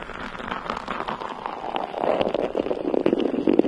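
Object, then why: Metal mesh microphone grille. Long nails of both hands scratch a bare, hollow, round metal mesh microphone head. The result is a dense, crackly scraping texture centered in the low-mids, with quick scratchy bursts that grow louder and busier in the second half.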